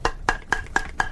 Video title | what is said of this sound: The Frank Skinner Show 30/01/2016 Play Centre | I'm gonna bang on it for you here. It's metal.